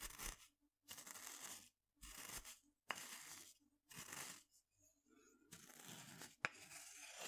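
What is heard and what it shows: A wooden pestle grinds and scrapes inside a small wooden mortar held in one hand. Bright, gritty scraping comes in short bursts separated by brief pauses, with a couple of sharp knocks of the pestle against the bowl.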